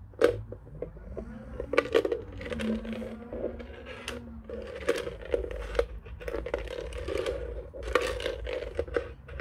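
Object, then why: Plastic desk telephone base. Fingertips tap and scratch the underside of a white, hollow plastic desk telephone base, fitted with rubber feet and a label. Quick, dry taps ring with a hollow plastic tone around 480 Hz, mixed with soft scratching and a steady low hum underneath. Brief sharp clicks reach up into the high range.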